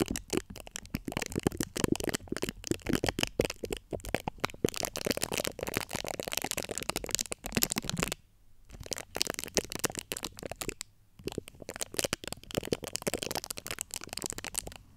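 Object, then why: Steel-mesh microphone grille. Long acrylic nail tips scratch the top of the domed, hollow steel-mesh grille on a large USB microphone. The result is a dense, rapid stream of dry, bright scratching and crackling, broken by brief near-silent pauses around 8 and 11 seconds.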